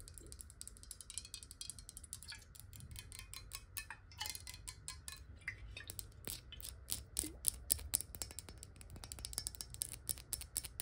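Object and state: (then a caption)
Glass bottle tapped and scratched with nails. Long nails rapidly tap and scratch the ridged base and sides of a clear glass water bottle. The result is a quiet, dense stream of sharp, bright clicks and scrapes that die away almost instantly, over a steady low rumble.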